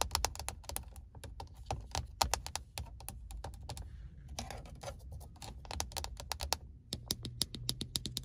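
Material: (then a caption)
Plastic. Fingertips and painted nails rapidly tap and scratch the glossy iridescent face of an empty, vent-mounted car phone holder in a truck; it has a small, hollow plastic body and chrome-look side arms. The sound is a quick run of sharp, dry plastic clicks with scratchy passes in between, over a steady low hum.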